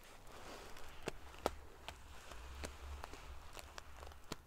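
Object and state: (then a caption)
Metal-sequin covered pillow. Fingers and long nails ruffle the rows of silver metal pieces on a large padded metal-sequin fabric pillow. A soft, continuous crackly rustle is broken by short, sharp, bright clicks that stop almost instantly, over a low steady rumble.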